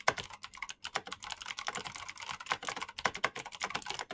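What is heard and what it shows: A black Razer mechanical keyboard with plastic keycaps and clicky switches is typed on quickly with the fingertips of both hands. A dense stream of sharp, bright clicks follows, with short, dry attacks that barely ring and a little lower thock under each press.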